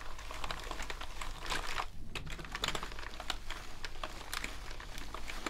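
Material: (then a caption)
Plastic. A natural sponge held in a gloved hand rubs across the keycaps of a full-size black plastic gaming keyboard resting on a table. The result is a steady stream of soft, rapid scrubbing and light clicking rattles with bright, short ticks over a constant low rumble.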